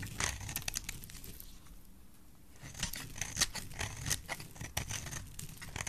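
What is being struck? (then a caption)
Bar of soap scraped with a metal blade. A solid, oval, bright green bar of dry soap is held in the hand and scraped with a metal utility knife blade. Crisp, dry, crackling scrapes sound in quick bursts, fading into a quieter pause partway through before resuming with sharper, brighter cuts.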